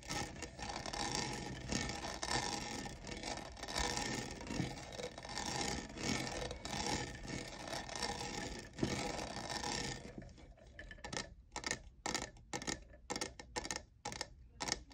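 Fingernails scratch and tap the sides of a hollow, lavender, diamond-textured plastic cold cup. A dense, bright, continuous scratching rasp fills the first ten seconds, then gives way to quick, separate dry taps with short silences between them.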